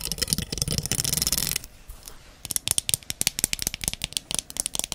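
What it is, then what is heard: Plastic hair comb. Long red nails strum and scratch the teeth of a small, solid, wide-tooth translucent amber plastic hair comb, making a dense, bright rattling burst for about a second and a half. After a brief near-silent pause, the nails tap and flick the teeth in a quick series of sharp, crisp clicks that continue to the end.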